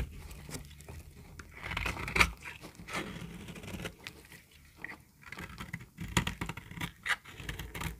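A utility knife blade scores a grid into a solid yellow bar of dry soap, then scrapes across it so crumbly pieces break off. Dry, gritty scraping and crunching come in uneven bursts, with bright crackles from the breaking chunks.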